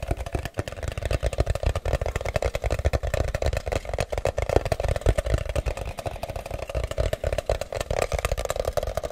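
A medium-size, hollow, plain brown kraft cardboard box is held close and tapped rapidly with fingertips and nails. The result is a steady stream of short, dry, hollow taps, mostly low thuds with a boxy mid-range resonance and faint clicky nail ticks.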